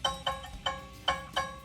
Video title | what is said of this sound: Scroll Saw | that sounds like a good pitch all right